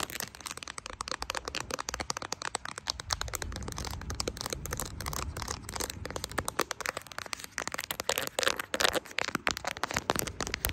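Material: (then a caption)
Silicone. Long acrylic nails tap rapidly on the back and camera bump of a smartphone in a brown silicone case with plastic charms, held in both hands. The sound is a dense stream of sharp, dry, bright clicks with almost no ring, over a soft low rumble through the middle of the clip.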